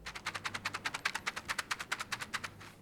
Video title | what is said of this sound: This Should Have Launched FIRST - Logitech G915 TKL Review | pretty much all of the larger keys have some form of rattle. You can even hear it if I shake the keyboard.